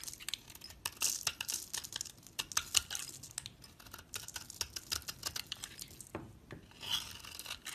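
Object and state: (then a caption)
Bar of soap scraped with a blade. A palm-sized solid dark brown bar of soap is held in the hand while a metal utility-knife blade scrapes its surface into curly shavings. The result is a rapid series of short, bright scratching and crackling strokes that are mostly high-frequency, with almost no low end and no ring after each stroke.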